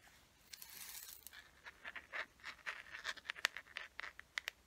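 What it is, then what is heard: Plastic case. Long nails scratch and tap the surface of a small hollow teal plastic case with a gold chain, held closed. A soft, airy scratching opens the clip, followed by a quick series of sharp, dry clicks with a bright plastic tone near 1.9 kHz. The clicks are quiet, with no low end and almost no ring.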